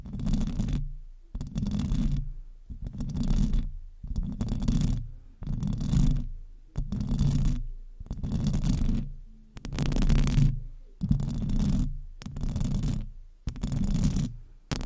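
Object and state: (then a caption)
Metal microphone grille being scratched. Long acrylic nails of both hands scratch the hollow metal mesh grille of a silver desktop microphone in eleven separate bursts. Each burst is a dense, low, rumbling scrape with a faint brighter hiss on top, swelling and fading before a short silence.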